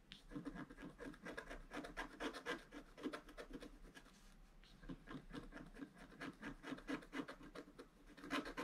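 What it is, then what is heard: Scratch art board being scraped. A wooden stylus scratches short strokes along the outline of a vase on a flat black-coated scratch art card. The result is a quick, uneven run of dry, rasping scrapes, about four per second, with a brief lull midway before the strokes pick up again.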